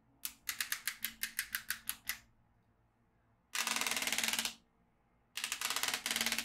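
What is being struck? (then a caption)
Plastic magnetic drawing tablet with steel beads. A yellow magnetic pen is moved along the lines of a black plastic magnetic drawing tablet filled with steel beads, making bright, crisp bead clicks. A quick series of separate clicks is followed by two dense, rapid rattling bursts of beads snapping into place, with short quiet pauses between them.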